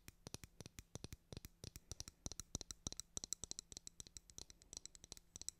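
A white plastic hairbrush has its back tapped and its bristles scratched with long nails. The result is a quiet, rapid, irregular stream of sharp, dry clicks and scratchy ticks with a bright, crisp top and almost no ring after each hit. A faint low hum sits steadily underneath.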